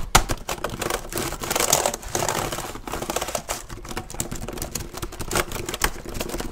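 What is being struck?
Plastic laptop keyboard.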